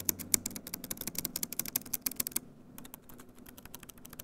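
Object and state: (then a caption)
Plastic laptop keyboard. Fingertips type and tap rapidly on the plastic keys of a grey plastic EXO laptop keyboard. Quick, bright clicks come in a dense, uneven flurry for about two and a half seconds, then continue softer and more spaced out. A faint low hum sits underneath.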